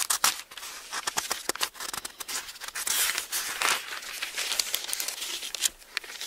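Fingertips flip the thin, onionskin-like pages of an open Bible and smooth them flat, rubbing against the paper. The result is a steady run of crisp, bright rustles and crinkles, with sharp little snaps as pages turn and softer hissing swishes as they are pressed down.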